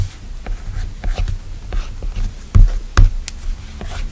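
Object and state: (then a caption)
Glass tablet screen tapped. A plastic stylus tip strokes and taps the flat, solid glass screen of an iPad tablet while fingertips swipe and pinch across the glass. About eight short, dry ticks sit over a soft, low brushing rustle, with two louder, duller taps near the middle. Each tap dies away almost at once.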